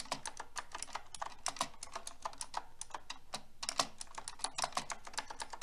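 Fingertips with long red nails type densely on a silver metal mechanical keyboard with pink plastic keycaps. The result is a rapid, uneven stream of short, crisp clicks with a bright, clacky edge and some low thock, each dying away almost instantly.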